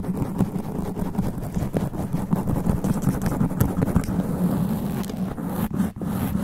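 Extra-long black nails scratch fast with both hands over a black foam sponge windscreen covering a USB condenser microphone's hollow head. A dense, continuous low rumbling scrape fills the clip, dominated by muffled low tones with a faint steady hum and quick rough bursts that never fully stop.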